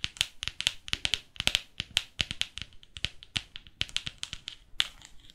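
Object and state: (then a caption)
Hardcover photo book tapped with long nails. Long nails tap and scratch the laminated cover and edges of a large hardcover photo book. About thirty quick, sharp clicks are heard in an uneven rhythm, each bright and dry, dying away almost instantly, with faint scratchy rustles in between.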